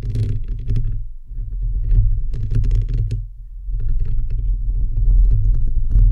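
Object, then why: Metal mesh microphone grille. Fingertips and nails of both hands rapidly tap and scratch a bare microphone head with a hollow, perforated metal mesh grille. The result is a dense, boomy low rumble full of soft thuds, with brighter crackly scratches layered on top. The sound eases briefly around 1.2 and 3.5 seconds before building again.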